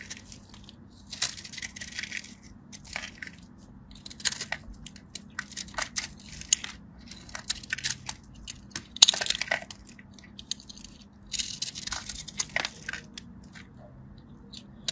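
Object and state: Dry bar soap being cut.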